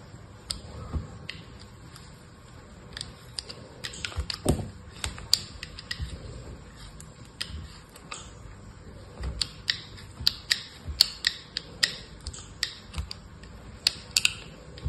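A solid chunk of dried soap with a blue face and a grey-white core is held in the hand and scraped and cut along its edge with an orange-handled utility knife blade over a pile of soap shavings. A steady run of crisp, bright ticks and short scraping crunches sounds over a soft hiss, each stopping almost at once, with brief pauses between strokes.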